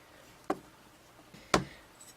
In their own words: flick it you can hear that it's actually metal and not plastic as found on a lot of other smartphones out there